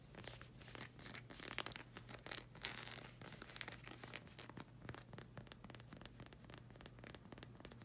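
A solid black rubber slide sandal sole with a hexagon tread, held in hand, is scratched and tapped with long red acrylic nails. Dense, bright scratching rasps and quick crisp taps run throughout, loudest early on. A steady low hum sits underneath.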